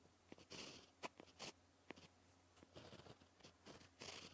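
A white gel pen writes on a black paper sheet, scratching it. Quiet, bright scratchy strokes come in short bursts separated by brief pauses, with a low steady hum underneath.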